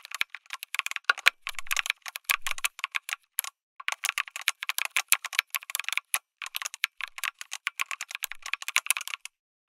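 Fingertips type on a lit mechanical keyboard with an aluminum case and plastic keycaps. The result is rapid, dense bursts of short, bright clicky keystrokes with brief pauses between runs.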